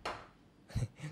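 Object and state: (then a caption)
Hollow metal microphone body. Knocks on the metal body of a Comica STA-U1 USB condenser microphone give short, dull, low thuds with little ring, sounding hollow because of the empty space inside that keeps it light. Two main knocks stand out, the second louder than the first.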